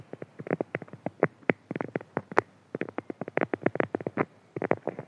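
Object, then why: Beeswax-coated cotton food wrap. A printed beeswax-coated cotton food wrap is scratched with fingertips, then pressed, crinkled and rubbed between both hands. The stiff waxed fabric gives a rapid series of short, dry scratching and crinkling bursts, mostly in the mids with little low end.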